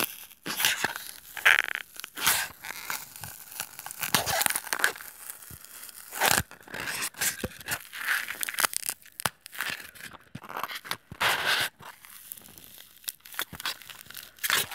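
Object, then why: Styrofoam block. Short fingernails scratch and dig into the surface of a solid white styrofoam block lying flat on a table, crumbling small beads off. Dense bursts of bright, dry scratching and crunching come with squeaky tearing tones around 1.7 kHz. The scrapes stop short with almost no low end or ring.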